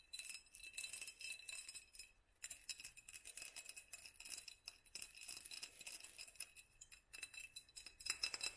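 A small, hollow, hand-held glass mason jar with a black studded sleeve is tapped and scratched with long nails around the sleeve and the glass. Dense, rapid, bright clicking and scraping clinks carry a thin, high ringing tone, with a brief lull just past two seconds before the tapping resumes.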